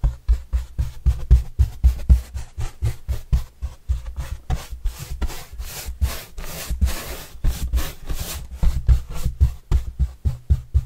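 A yellow-bristle paintbrush is swept across the surface of a large, flat, white corrugated cardboard pizza box with green edges, held upright and hollow. Quick, rhythmic brushing strokes, about four per second, give a low, hollow thump from the box under a dry, scratchy bristle hiss. Midway, the strokes blur into a denser, smoother rustle before separating again.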